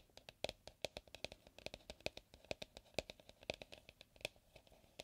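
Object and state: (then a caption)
Hollow plastic mixing bowl. Fingers and fingertips tap and scratch the outer wall of an empty, medium white plastic mixing bowl with a pouring spout, held upright on a wooden table. About thirty quick, dry taps come in an uneven rhythm, each dying away almost at once, with a hollow tone near 617 Hz and bright clicky highs, plus faint scratching between them. The bowl sounds hollow.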